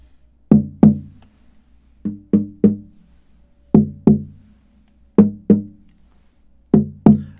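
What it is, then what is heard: Koa guitar top tap tone. The koa top of an unstrung, hollow-bodied koa OM acoustic guitar resting on a chair is tapped near the soundhole with a small stick or fingers. Eleven short, woody knocks come in pairs and one group of three, each with a brief resonant tone around 210 Hz that dies away quickly.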